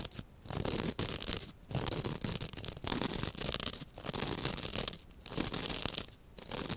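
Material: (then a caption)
Foam. Long dark-painted nails scratch a rectangular, soft, porous white open-cell foam sponge held in one hand, with a second identical sponge lying still beside it. The result is a series of dry, raspy scratching bursts with bright, hissy highs, separated by brief quiet pauses.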